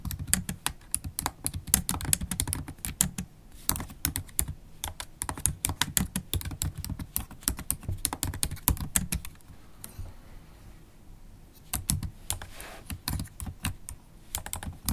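Long acrylic nails type steadily on a MacBook Pro keyboard, tapping black plastic keycaps set in an aluminium laptop body. A dense run of quick, short clicks with a low thudding body and bright tips fills the clip, easing slightly around the middle before picking back up.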